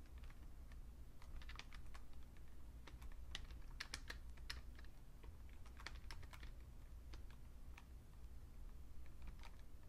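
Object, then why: Plastic computer keyboard. Two hands type with their fingertips on a vintage beige plastic full-size Fujitsu Siemens computer keyboard, producing a steady run of quick, bright, short key clicks. A constant low hum sits underneath the whole clip.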